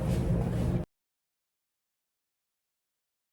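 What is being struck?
Nothing is struck.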